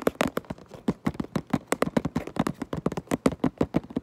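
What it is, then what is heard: Cardboard box. Long nails tap and scratch across the back of a cardboard Minecraft Lego box. About 25 quick, dry taps come in a steady, uneven rhythm. Each has a dull low-mid thud that dies away almost at once, with little bright content.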